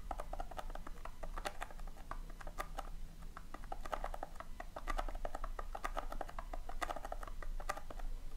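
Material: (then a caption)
Polystyrene foam. Long painted nails scratch and dig through loose, tiny polystyrene foam beads in a round tin. The result is a dense, steady run of dry, crisp ticks and rustling scratches, bright but centered in the mids, over a constant low hum.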